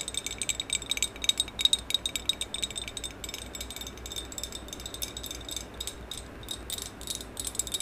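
Long acrylic nails rapidly tap and scratch a medium maroon glossy hollow ceramic vase with a black band, held first horizontally and then vertically. The result is a dense stream of bright, dry clicks and scrapes with a high ringing tone near 3.8 kHz that dies away almost instantly, over a faint low hum.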